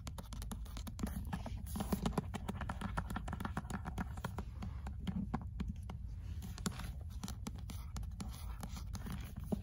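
Long acrylic nails and fingertips rapidly tap and scratch the cream paper cover of an old, closed paperback copy of "L'être et le néant" held in the hand. The result is a dense, steady stream of soft, dull clicks and scratchy rasps, mostly low in tone, that die away almost instantly.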